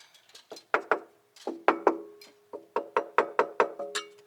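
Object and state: Hollow wall.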